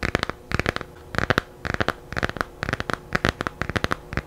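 Long painted nails tap and scratch the glossy cover of a small, solid, laminated hardcover children's picture book made of cardboard and paper, held in both hands in front of the mic. Quick, dry clicks come in short clustered bursts with brief pauses between. Each has a crisp mid-range tone around 1.4 kHz and dies away almost instantly.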